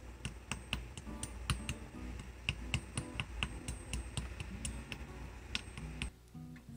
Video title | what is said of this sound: Cherry Crisp with Frozen Cherries | hear how crispy it is